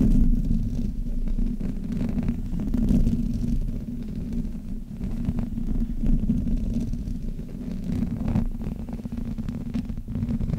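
Both hands rub the sides of a black Blue Yeti microphone's hollow metal mesh grille with fingertips and long nails. The result is a continuous low, muffled rumbling scrape with a steady hum-like tone around 240 Hz. Faint bright scratchy ticks cut through at times.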